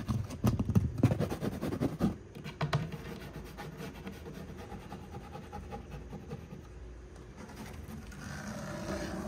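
Fingernails scratch up and down the edge of a solid dark brown wood-grain laminate divider panel in a cube storage shelf. Quick, dry, low-toned scratching strokes come loud and dense for the first couple of seconds, then settle into a softer, steady scratching that continues to the end.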